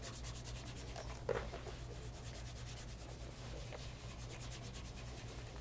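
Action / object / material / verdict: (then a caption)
scrape / pebble grain leather loafer / leather / none. A cloth wrapped around the fingers rubs polish over the toe and vamp of a light brown pebble grain leather loafer resting on a leather lap mat. Soft, steady, rhythmic rubbing strokes sit over a constant low hum, with one brief, slightly louder tap early on.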